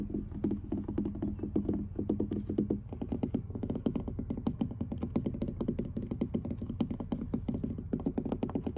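Long blue fingernails on both hands tap rapidly across the surface of weathered wooden dock planks, producing a dense, steady patter of short, dry clicks with almost no ring. A low tone sits beneath the taps for the first few seconds, and the boards sound solid throughout.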